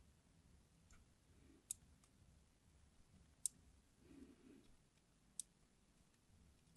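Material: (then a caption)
Glycerin soap. A craft knife blade scores crosshatch lines into a solid green translucent hard glycerin soap bar, palm-sized and held in the hand. Three sharp, bright clicks snap out, each dying away almost instantly, over a quiet low rustle between strokes.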